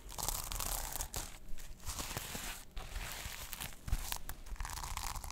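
Long nails scratch and flip the plastic sequins on a small sequin-covered notebook cover held close to the mic. Dense, dry crinkling and scratching rasps run throughout, with brief gaps and a low rumble underneath.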